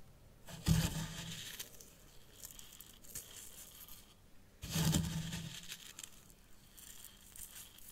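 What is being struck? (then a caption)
Fine white sand in a small tray. Fingertips and nails scratch through fine white sand in the upper compartment of a small hexagonal tray in a miniature zen garden. Two longer passes start sharply, then give a soft, gritty, bright scraping that slowly fades. Quieter rustles of sand fill the gaps.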